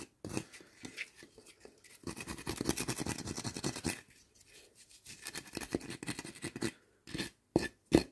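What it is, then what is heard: Split firewood pieces rubbed and knocked together. Two solid, hand-sized pieces of split firewood, one with bark and one of bare light wood, are rubbed and scraped against each other in quick, uneven strokes, making a dense, dry scratching with a woody low body. The scraping swells and fades in bursts, then two sharp knocks of one piece against the other ring out at the end.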